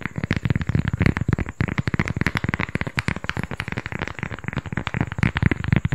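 A small, flat, solid round cork coaster is held in both hands and tapped and scratched with fingertips and nails. It makes a rapid, continuous stream of short, dry taps and crackly scratches. The sound is heavy in the low end and each tap dies away almost instantly.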